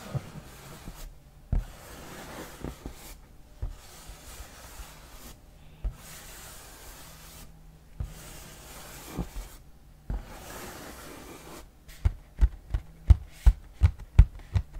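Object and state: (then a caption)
Cardboard game box. Fingernails scratch and rub across the glossy lid of a large printed cardboard board game box held up close. Soft, breathy scraping comes in bursts separated by short silences, then gives way to a quick run of sharp, crisp taps at the end.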